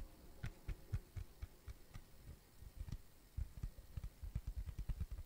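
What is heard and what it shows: A thin, solid, round flat tan cork coaster is tapped and scratched with fingertips and nails. It gives quiet, dull, low thuds that die away almost at once, with a faint brushing scratch between them. The taps come in an uneven run that speeds into a quicker cluster near the end.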